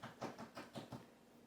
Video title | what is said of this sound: Cheese and Onion Rolls | You tap on the bottom and you're listening for a hollow sound.